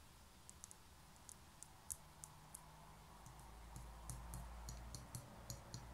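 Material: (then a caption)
Concrete. Long nails tap and scratch the outer wall and edge of a small, hollow grey concrete pen holder held on its side. About eighteen short, bright clicks come at an uneven pace, each dying away almost instantly. A faint scratchy texture and a steady low hum sit underneath.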